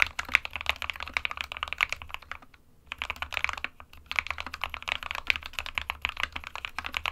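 Both hands type with their fingertips on an SK61 small 60% mechanical keyboard with a white plastic case and plastic keycaps, resting on a printed desk mat. Rapid, bright plastic key taps clatter in quick bursts, broken by two brief pauses before the typing resumes.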